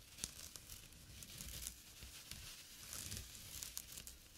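Fingernails and fingertips scratch a small, flat, empty jute burlap drawstring pouch lying on dark cloth, and by the end the hand moves away. The result is a quiet, continuous, dry, bright scratching and crinkling texture, broken by short, sharp ticks and faint low rumbles.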